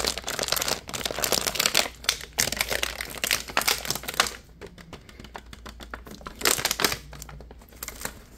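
A partly filled clear plastic (PET) water bottle with a label and cap is held in both hands while the fingertips squeeze and crinkle its thin, ridged walls. The result is dense, bright crackling and crinkling, loudest in the first half, then softer, sparser clicks with a brief louder flurry near the end. A faint steady low hum runs underneath.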